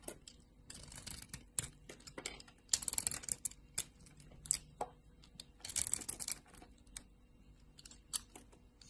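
A green solid bar of soap with a purple layer, held in a hand with long glitter nails, is cut and shaved with a utility knife blade. Bright, crisp scraping and slicing bursts come in quick clusters with short clicky snaps between them, and there is almost no ring after each cut.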